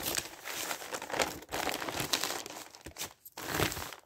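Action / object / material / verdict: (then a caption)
scrape / newsprint paper pages / newsprint paper / none. Flat newsprint pages are rubbed with the palm and fingertips, then lifted and turned, giving bright, dry crinkling and rustling with almost no low end. The crinkles come in dense bursts with brief quiet breaks, and the sound stops sharply without ringing.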